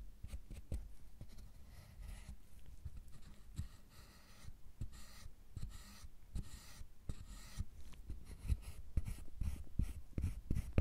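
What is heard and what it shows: A metal loop tool scrapes and a metal pick scratches the surface of a solid milk chocolate bar. The result is quiet, dry scraping and scratching, broken by many short, sharp ticks that grow slightly louder toward the end.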